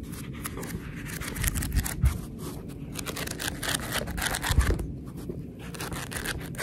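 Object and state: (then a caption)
Paperback book (paper). A paperback book is held in both hands while long red nails scratch and tap along the top page edges and the cover. It makes a steady, dry, crackly scratching with bright papery rustle, and a few soft low thumps rise out of it at irregular moments.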